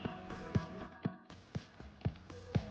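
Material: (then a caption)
Fruit. A wooden stick taps on an unripe durian in a steady series of dull, low, short knocks about every half second, each dying away almost at once, over faint background music. The deep, dead-sounding thud marks the fruit as unripe.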